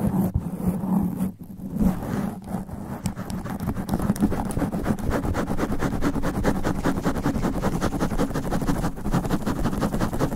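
Long black nails on both hands scratch fast and aggressively at a black foam sponge windscreen on a standing microphone. The result is a dense, continuous rasping with heavy low-end rumble and thumps, plus rapid brushy streaks reaching up into the highs. The level stays fairly steady throughout, with a brief dip early on.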